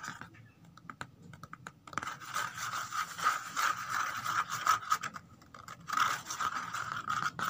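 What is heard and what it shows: Long nails rapidly scratch and tap the flat bottom inside an empty corrugated cardboard box. A few sparse, dry taps open the clip, then give way to dense, rasping scratching with a papery midrange tone and bright hiss, pausing briefly before resuming.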